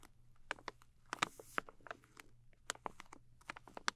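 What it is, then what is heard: Plastic film pouch of wet wipes. Long nails tap and scratch the flat front of a soft plastic film pouch of makeup remover wipes, filled with moist wipes and held in both hands. About fifteen quiet, sharp crinkly clicks and brief scrapes come in an uneven patter, each dying away at once, with a faint low hum underneath.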